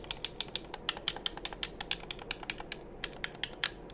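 A hollow black plastic game controller is held in both hands while thumbs and fingertips press its buttons and tap its shell. About 23 short, sharp, bright clicks and taps come in an uneven rhythm, each dying away almost instantly over a faint low hiss.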